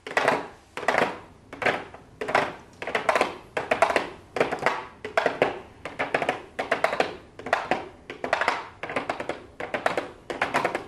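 A small pink cardboard makeup gift box with a clear plastic window lid, hollow and lying on a wooden desk, is tapped and lightly scratched with very long blue acrylic nails. Quick clusters of bright, crisp taps and light scratches come in uneven bursts, each with a short hollow, papery body and almost no low end.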